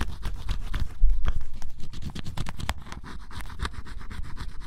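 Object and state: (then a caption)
Scratch-off cardboard puzzle being scraped. A flat metal blade scrapes the black coating off the coloured area of scratch-off cardboard jigsaw puzzle pieces printed with a bunny drawing, leaving black flakes behind. Heard close up as a rapid, uneven series of short dry scratching strokes, nearly four per second, each with a soft, low, dull thump under it.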